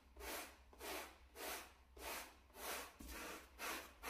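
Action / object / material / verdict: scrape / shag carpet mat scrubbed with a bristle brush / carpet fibre / none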